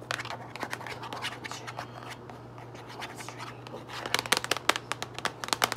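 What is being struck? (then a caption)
Cardboard box of rolled plastic bags. Long acrylic nails tap and scratch the top and front of a medium-size printed cardboard Kroger Tall Kitchen drawstring trash bag box, full of rolled plastic bags. Soft scratching and light taps fill the first part, then a burst of sharper, bright, crisp nail taps follows near the end over a steady low hum.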